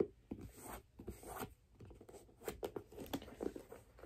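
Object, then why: Leather figure skate boot. Long black nails tap and scratch the side of a white leather figure skate boot, held sideways near its metal lace hooks. Quiet, soft, dull taps mix with dry, scratchy rustling across the leather, with short bursts of brighter friction and no ringing.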